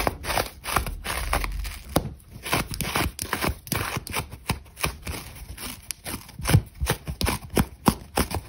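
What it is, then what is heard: Dry, brittle foam sponge. Long nails and fingertips scratch and rub across a dry, brittle old foam sponge that is worn and crumbling, with foam crumbs falling away. The result is a fast run of short, crisp, crunchy scratches over a low rumble of rubbing, each burst dying away almost at once.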